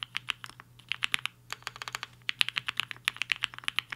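Fingertips of both hands type on a HI-FINGER 7.5, a black-cased 75% mechanical keyboard with a hollow case and white and pink plastic keycaps, resting on a desk mat. About 27 quick, bright keystrokes clack in an irregular typing rhythm, each a sharp, dry tap that stops almost instantly with very little low end.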